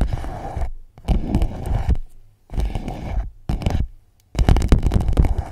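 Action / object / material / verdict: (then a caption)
scrape / empty clear PVC pouch / PVC plastic / none. An empty clear PVC pouch wrapped around the microphone is scratched and rubbed with long nails and fingertips. Five bursts of close, dry scraping and crinkling are separated by short silences, with a heavy low rumble beneath. The last burst is the loudest and busiest.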